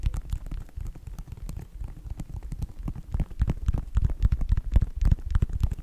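Fingertips and nails tap the synthetic upper of a white Nike sneaker. The result is a fast, uneven patter of soft, dull thuds, dominated by low tones, with brief clicky ticks that stop instantly and grow a little louder toward the end.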